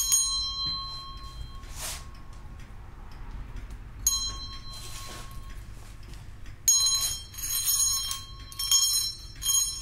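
A small brass handbell with a hollow bell and a wooden handle is held by the handle in one hand and shaken, giving bright, high ringing bursts with a thin, shimmering tone that rings briefly between shakes. Softer rustling swells come between the rings, and a quiet low hum sits underneath throughout.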